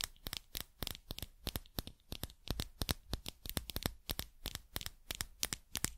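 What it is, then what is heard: Metal and rubber dropper cap. Long nails tap and scratch a small, hollow dropper cap held on its own, off the bottle, striking both its shiny metallic collar and its white rubber bulb. The result is a quick, uneven run of sharp, bright clicks that stop dead, mixed with soft scratchy rustle and a faint low thump under the taps.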